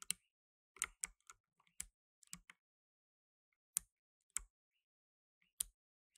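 Blue nitrile-gloved fingertips type on a black tenkeyless mechanical keyboard with plastic keycaps. Twelve sharp, bright, quiet key clicks each cut off almost instantly, coming in uneven bursts separated by silent pauses.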